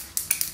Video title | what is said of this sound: #2 Tutorial Tuesday / easy hair straightening plus great products | you shake it, you hear that little ball on the inside?